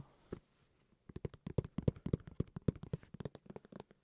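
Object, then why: Hard plastic carrying case. An old hard plastic Nintendo Switch carrying case is tapped after being scratched. A single tap is followed by a pause, then a quick, irregular run of short, dull, low-pitched knocks with almost no ring, about 23 taps in all.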